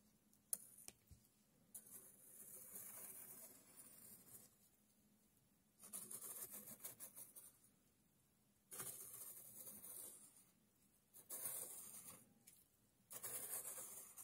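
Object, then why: Coarse loose sand stirred with a stick. A thin red stick pokes and stirs loose, coarse, light-brown sand in a tray, while a single coin lies still and untouched at the edge. Soft, bright, gritty rustling and scraping comes in five drawn-out bursts separated by near-silent pauses, with a few faint sharp ticks near the start.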